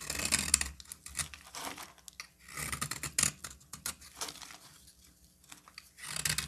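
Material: Soap.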